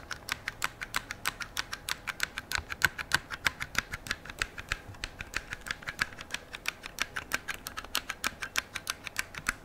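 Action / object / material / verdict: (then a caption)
tap / rifle receiver of metal and polymer / metal, polymer / none. Fingertips and nails tap and click along the metal receiver of an AR-style metal and polymer rifle held in the hands. About 60 short, bright clicks come in a quick, uneven rhythm of roughly three per second. Each click dies away almost instantly over a faint background hiss.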